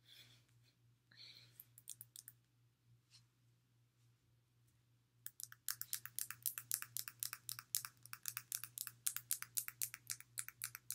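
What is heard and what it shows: Long nails tap and click on the polished surface of a palm-sized, solid pink rose quartz heart-shaped stone held in the hands. A few soft, scattered clicks over the first five seconds give way to rapid, fairly steady tapping of short, bright, crisp clicks that stop dead with no ring, over a faint steady low hum.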